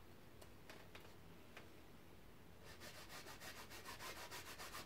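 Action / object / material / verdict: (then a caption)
scrape / painted fabric canvas on a wooden frame / fabric / none. A paintbrush is rubbed in strokes across a large painted canvas on an easel, its taut fabric stretched over a hollow frame. A few faint, brief brushing scratches come first, then a steady run of louder, bright, rhythmic rubbing strokes takes over for the rest of the clip.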